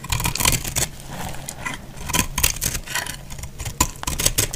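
A hand-held solid bar of dried yellow-orange soap is cut and scraped with a box-cutter blade, shaving off crumbly pieces. Bright, dry scraping and crunching bursts come in quick, uneven strokes, each with a brief gritty crackle over a faint low rumble.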